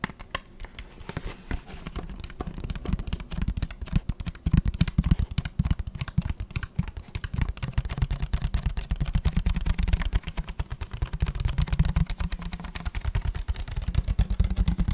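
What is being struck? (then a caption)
Plastic water bottle. Fingertips tap and scratch along the body of an empty, hollow, clear plastic water bottle. The result is a dense, rapid patter of short, dull, low-heavy taps with little brightness, growing busier and louder after the first few seconds and continuing steadily to the end.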